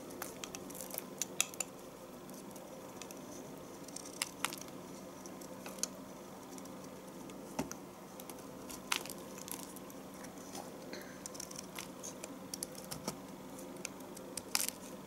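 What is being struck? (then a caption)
Bar of household soap cut with a knife. A knife shaves slices off the corner of a solid, partly carved bar of household soap over the tub. Quiet, bright, crisp scraping crackles and sharp clicks come in irregular bursts over a steady low hum.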